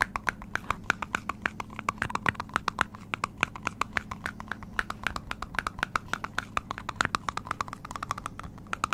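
Fingertips and nails tap quickly on the top of the hollow green plastic cap of a medium metal aerosol spray can, held in one hand close to the microphone. The result is a fast, steady run of short, dry clicks with a hollow tone around 1.5 kHz that stop dead with no ring.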